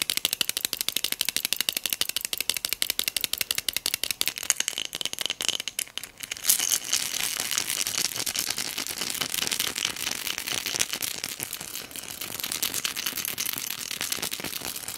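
Long nails tap and scratch a small pink textured hobnail glass votive cup filled with pearl beads. Rapid, crisp clicking taps come for about the first six seconds, then give way to a dense, continuous scratching rattle. The sound is bright and high with almost no low end.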